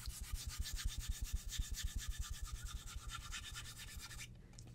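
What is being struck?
Wooden cutting board.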